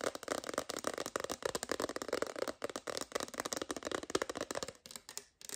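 An empty, transparent hard plastic phone case is held in the hands and tapped rapidly with long green nails. The result is a dense stream of short, dry clicks with a hollow midrange tone and a bright edge. The tapping briefly pauses near the end and then resumes.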